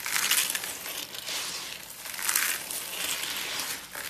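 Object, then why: Soap flakes. Both hands scoop, squeeze and rub a pile of small, brittle, dry pink soap flakes between the fingers on a white surface. The result is a bright, dry crunching and crumbling with fine crackles, swelling and easing in uneven waves, with almost no low end.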